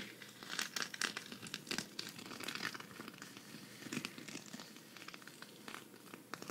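Long red fingernails scratch across a flat, hand-sized green sequin cactus patch, thin and solid and held up in one hand. The result is a dense, bright crinkling and clicking texture of quick, sharp ticks over a quiet background, with little low end.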